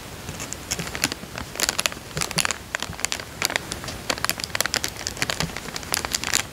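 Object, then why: Thin plastic coin bag. Fingertips press and crinkle a small, thin, clear printed plastic bank coin bag lying empty and flat on a ribbed fabric couch. Dense, bright crackling crinkles come in quick, irregular bursts with very little low end. Each crackle stops almost instantly.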